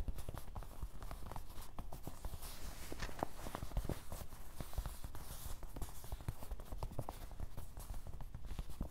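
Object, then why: Canvas fabric waist bag. Fingertips of both hands tap rapidly across the top of a medium, soft grey canvas/nylon fanny pack lying on a table; the bag is hollow and possibly partly filled. The taps blend into a steady stream of soft, muffled, low thuds with almost no ring, with a faint cloth rustle.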